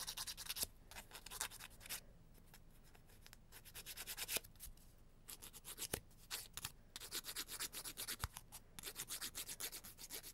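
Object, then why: Cardboard emery board on fingernail. A long, thin emery board of grit-coated cardboard is filed in rapid back-and-forth strokes across the fingertips and nails. It makes a soft, bright, scratchy rasp in quick bursts, with quieter stretches around two to four seconds and near five seconds before the strokes pick up again.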